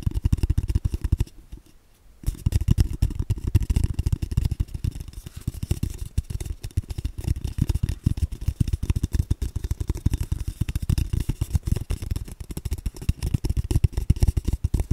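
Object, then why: Cardboard paper tube. Fingertips tap rapidly along the side of an empty, hollow brown cardboard tube about 15 cm long, held above the mic. The taps make a dense stream of soft, deep, hollow thumps, with a short pause near the start before the tapping resumes and continues steadily.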